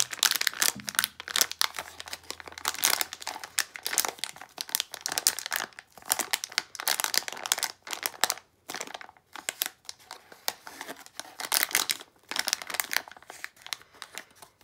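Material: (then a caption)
Plastic foil. A small, sealed plastic foil blind bag of Disney d-Licious figures, not empty, is crumpled, squeezed and turned over in both hands with fingertips and long acrylic nails. It makes dense, bright crinkling bursts in quick irregular clusters, with brief quiet gaps and almost no low end.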